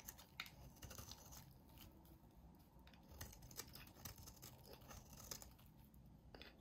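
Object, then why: Soap bar. A utility knife blade shaves thin curls from a solid, hand-sized peach-orange bar of soap. It makes a quiet run of crisp, bright scraping and crackling strokes with sharp clicks over a soft, low rumble.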